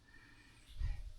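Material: Nothing is struck.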